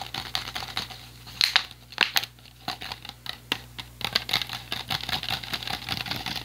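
An empty, hollow clear PET plastic water bottle with a blue cap is held upright and crinkled and tapped with the fingers. It makes irregular, bright crackling crinkles mixed with quick, dry taps that die away almost at once, over a faint steady low hum.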